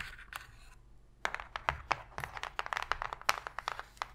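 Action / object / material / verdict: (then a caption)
tap / cardboard box tray tapped and scratched with fingernails / cardboard / none. Long pink fingernails tap rapidly and scratch on the floor of an empty, open white cardboard box tray, giving a hollow sound. A faint scratchy rustle in the first second gives way to a rapid series of short, dry, papery clicks and taps. The taps are centred in the mid range with bright edges and very little low end.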